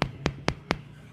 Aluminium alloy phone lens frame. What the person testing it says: bunyi metal yang solid tu